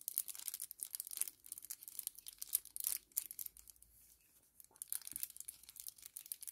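A small, flat kraft paper sachet held in both hands is crumpled and crinkled with the fingers, giving quiet, bright, crackly rustles and crisp tearing-like crinkles. The crinkling comes in dense bursts, fades to near silence for about a second midway, then picks up again.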